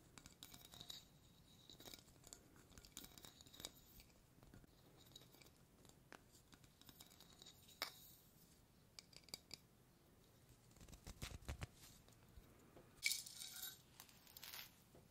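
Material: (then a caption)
Metal. Fingertips and nails tap and scratch the gold metal lid of a small, hollow cylindrical tea tin with a paper label, likely partly filled, and the lid is also turned. It is quiet, bright, crisp tapping and scraping with short, dry clicks. There is a brief low rumble near the 11-second mark and a louder scratchy burst around 13 seconds.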